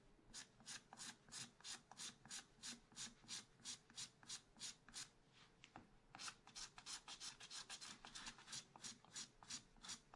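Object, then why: Black-coated scratch art card scratched with a wooden stylus. A wooden stylus scratches long curved strokes across the upper area of a black-coated scratch art card in a spiral pad resting on a table. Quiet, bright, raspy scratches repeat at about three per second, each short stroke dying away almost at once. There is a brief pause near the middle before the rhythmic scratching resumes.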